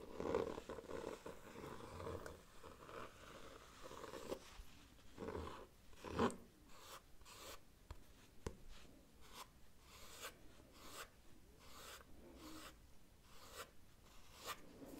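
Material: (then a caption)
Cloth. Fingertips rub and scratch across the textured printed cover of a solid cream cloth-bound hardcover book decorated with a red cat illustration and gold flowers. The sound is a soft, dry scratching with a low, papery hiss and a few brief broadband strokes, some louder swipes early on, then quieter, evenly spaced strokes.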